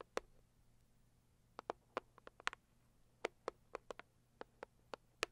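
Long purple acrylic nails tap and scratch the lid of a medium-size, hollow, pink floral Saviland rigid cardboard gift box. About fifteen short, dry, hollow clicks come in uneven clusters over a very quiet background, each dying away almost instantly with a bright edge.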